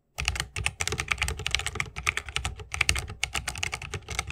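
Fingertips of both hands type fast on a 60% mechanical keyboard with plastic keycaps on Holy Panda tactile switches, set in a solid bamboo wooden case with RGB lighting and resting on a wrist rest. A rapid, uneven run of about two dozen sharp, bright clacks, each with a short, deep thock underneath, dies away almost instantly after every keystroke.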